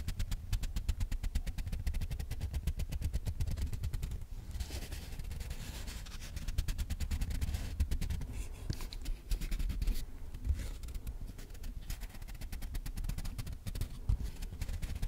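A small, flat piece of brown cardboard, held in both hands close to the microphone, is scratched and tapped with long nails and fingertips. Rapid, dense tapping and scratching runs throughout, with a deep, muffled thump to each tap and soft rustling scrapes in between. The taps ease into smoother scraping briefly around the fourth and ninth seconds.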